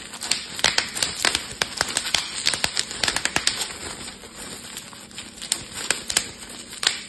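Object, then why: Plastic bubble wrap sheet. A clear plastic bubble wrap sheet is twisted and squeezed with fingertips, popping its bubbles. Sharp, bright pops come in quick irregular bursts over a steady plastic crinkling. Each pop dies away almost at once, with little low end.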